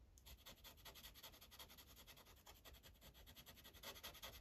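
A dark felt-tip Sharpie marker, held in the fingers, is rubbed back and forth across a thin printed paper coloring page lying flat on a clipboard. The result is a quiet, fast run of bright, scratchy strokes in an uneven rhythm, with a faint low hum underneath.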